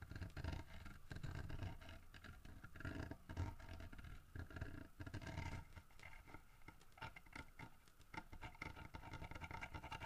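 Fingertips and short nails scratch and tap on a large, solid carved wooden figurine of a bear holding a fish in its mouth, working over both the fish and the bear's head. The result is a steady stream of soft, dull taps with a low, woody thump beneath quiet scratching, each tap dying away almost at once.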